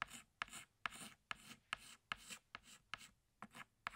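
A pink chalk stick is rubbed against a flat black chalkboard to thicken outlines. The result is a quiet, steady series of short strokes, each starting with a sharp tap and trailing into a dry, raspy scrape that is bright in the upper range.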